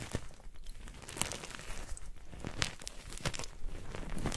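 White gym chalk blocks of magnesium carbonate and their chunks, resting on a pile of chalk powder, are crushed and squeezed in bare hands with painted nails until they crumble. The clip is a run of soft, dry crunches and crinkly crumbling with brief bright crackles over a low rustling bed.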